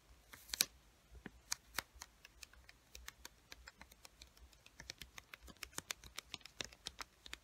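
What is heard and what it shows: Long white-painted nails tap and scratch the surface and edges of a small pink paper sticky note pad, a solid stack of paper held close. A quiet, uneven run of sharp, dry, bright clicks and brief scratches is heard, each one stopping instantly with no ring, over faint low background hiss.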